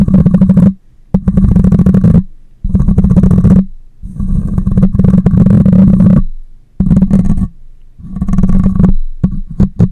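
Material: Metal mesh.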